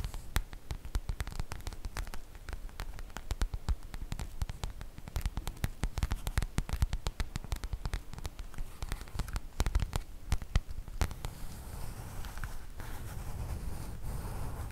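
Long nails scratch a sprinkle-print cotton fabric makeup bag held up in both hands, making dense, rapid scratchy clicks and taps for about eleven seconds. The scratching then gives way to a softer, steady rustle for the rest of the clip, with most of the energy sitting low.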